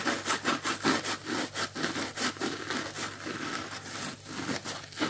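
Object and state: Plastic scrub sponge, dry.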